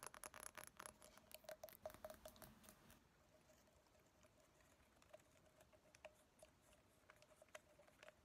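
Long nails tap rapidly on a small, partly filled glass reed diffuser bottle with a white cap and reeds, held close. Quiet, sharp clicking taps carry a faint glassy ring near 625 Hz, with a dense burst for the first three seconds before the taps turn softer and more scattered.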